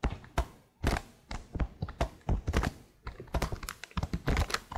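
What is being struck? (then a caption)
Plastic laptop keyboard keys. Long blue nails tap the keys on the right side of a detached black plastic laptop keyboard held close to the microphone. The result is a quick, irregular run of dull, low clicks and thunks, each dying away almost at once, with bright clicky edges on the sharper taps.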